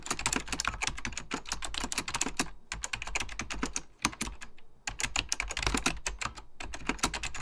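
Fingertips type rapidly on an Apple Extended Keyboard II, a plastic mechanical computer keyboard with beige plastic keycaps and a hollow plastic case. Dense bursts of short, bright, clacky key taps die away almost instantly over a low thud. Two brief pauses break the otherwise continuous typing.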